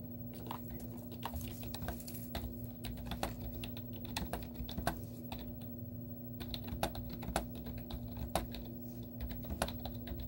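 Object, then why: Plastic computer keyboard. Fingertips with short painted nails type on a plain white plastic computer keyboard with no stickers. It makes a steady run of quick, dry clicks with brief bright ticks, some keystrokes louder than others. A constant low hum runs underneath throughout.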